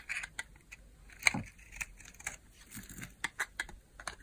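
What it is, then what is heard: Bar soap being carved. A utility knife blade carves a small, solid cream bar of hard soap held in the hand, scraping off thin curls. Quiet, bright, crisp scrapes and clicks come in short bursts, with one sharper, louder cut with a low thud near the middle.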